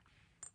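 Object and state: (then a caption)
Glass perfume bottle. A hard, smooth glass perfume bottle is tapped twice, giving two short, bright clinks with a high ringing tone. Each clink dies away almost instantly after a quiet lead-in.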